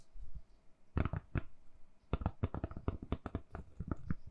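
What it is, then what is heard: Silicone phone case. Long nails tap quickly on a solid, hand-sized lilac silicone-covered phone case fitted on a phone. The taps are quiet, dull and low-pitched, each dying away almost instantly. After a few faint taps and a brief pause, a steady run of rapid taps follows.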